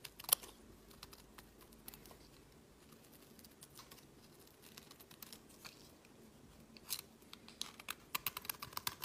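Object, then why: Solid bar soap cut with a metal blade. A snap-off metal utility blade carves a solid cream bar of soap, peeling long curls off onto a woven mat. Quiet, crisp scraping and dense crackling ticks dominate, mostly bright with little low end. A sharp snap sounds near the start, and louder bursts of cracking come toward the end.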